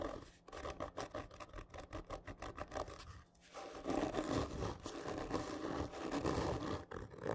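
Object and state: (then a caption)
Cardboard gift tube being scratched. Fingernails press and scratch hard and slowly along a large, hollow, black printed cardboard whisky gift tube lying horizontally. The first half is a quick series of short, rasping strokes with a hollow low-mid resonance. It then gives way to louder, denser, continuous scraping that stays rough and mostly low to mid in tone.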